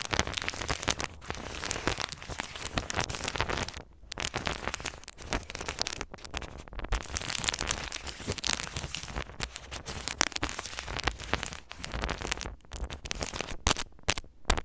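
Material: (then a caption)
Aluminum foil. A small, flat, crinkled square of aluminum foil, apparently wrapped over a thin backing and resting on a white table, is scratched and rubbed with the metal grille of a mini microphone while a hand holds it flat. Dense, bright crinkling and scratching runs almost continuously, broken by a few brief pauses near 4, 6.5 and 14 seconds.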